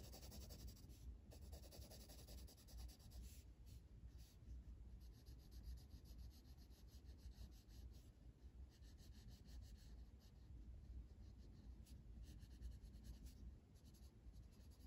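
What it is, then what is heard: Colored pencil on a coloring book page. The tip of a blue colored pencil, held by the fingertips, scratches and rubs across a flat paper coloring book page while filling in an area. A quiet, steady scratchy rubbing runs throughout, with a low rumble underneath and faint bright hiss in rapid strokes.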